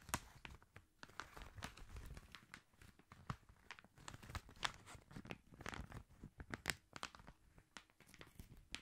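A long gift-wrapped paper tube in red Christmas wrapping paper is held horizontally close to the mic while fingertips and short nails tap and scratch along its surface. The result is a quiet, dense stream of sharp, crinkly clicks and papery scratches with a bright edge and a soft low thump beneath. Each sound stops dead with no ring.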